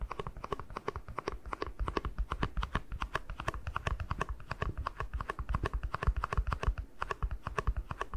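Fingertips tap quickly on the base of a small, hollow, empty white plastic cup. A rapid, steady run of soft, dull taps carries a deep, low thump and a hollow plastic knock. Each tap stops almost instantly.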